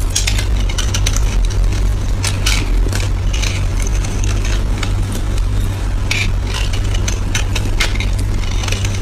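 A solid, oval, palm-sized green soap bar, held in the hand, is scraped and shaved with a small dark knife, with the shavings falling onto a pile. Crisp, bright scraping and crackling strokes repeat steadily over a constant low hum.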